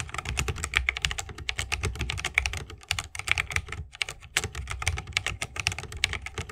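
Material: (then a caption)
Bamboo, plastic. A 60% mechanical keyboard with a bamboo case, plastic keycaps and Holy Panda switches is typed on continuously with the fingertips of both hands. It makes a rapid, steady run of short, crisp clacks that are bright around 2 kHz, with a soft low thump under each press. Each keystroke dies away almost instantly.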